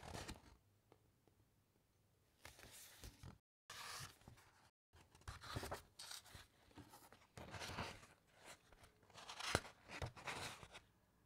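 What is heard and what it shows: Fingertips rub over a thick page of an open paper encyclopaedia, and then the page is turned by hand. Soft, bright papery rustles and scrapes come in uneven bursts, with a few sharper crinkles and two brief moments of silence.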